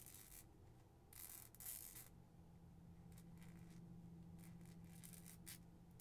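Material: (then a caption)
Plastic film. Long acrylic nails crinkle and scratch a clear plastic cellophane treat bag, printed with stars and moons and tied with a white ribbon with something inside, held in both hands. Quiet, bright bursts of crinkling and scratching come in uneven clusters over a faint, steady low hum.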